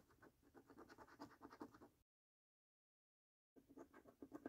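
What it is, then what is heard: Scratch card being scratched with a coin. A coin held in one hand scratches the coating off the games section of a thin paper £1 Million Snack Stack National Lottery scratch card, which is held flat by one fingertip. Quick, rhythmic, dry rasping strokes carry a papery midrange tone. They stop for about a second and a half of silence, then resume.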